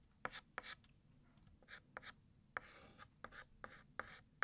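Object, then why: White chalk on a flat chalkboard. A hand holding a white chalk stick in its fingertips writes "New Year" in cursive on a large, flat, solid black chalkboard. About eleven sharp chalk taps land on the board, each followed by a short, bright, scratchy scrape. There are quiet pauses between strokes and almost no ring.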